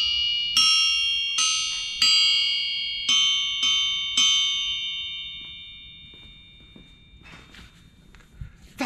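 A large solid forged steel V8 crankshaft stands on end on a shop floor, steadied by hand, and is struck six times with a metal wrench in a ring test. Each strike gives a bright, bell-like ringing tone with a high main pitch. The final ring fades over several seconds before faint shuffling noises at the end.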